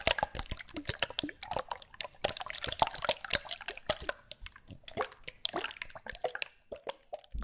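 Small bottles with liquid inside are shaken close to the microphone. Dense, bright sloshing, dripping and plopping follow in quick bursts with short gaps between them. There is no talking.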